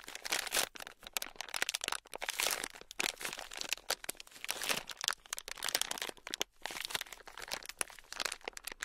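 Fingertips press, squeeze and rub a palm-sized, solid block of red foam-bead clay (floam) held in both hands. It makes dense, crunchy crackles of beads, bright and crisp with almost no low end, coming in uneven bursts throughout.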